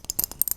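A plastic pill bottle holding Prozac tablets is shaken, giving a quick, bright rattle of pills clicking against the inside. The clicks are short and dry, mostly high-pitched with almost no low end.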